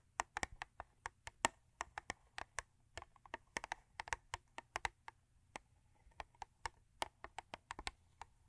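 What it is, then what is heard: Cardboard toothpaste box. Long acrylic nails tap and scratch on a thin cardboard Crest toothpaste box lying flat, making about 35 quick, dry clicks with very short decay. The clicks come in an uneven, rapid rhythm, with a bright crisp edge and a papery body, over a faint steady low hum.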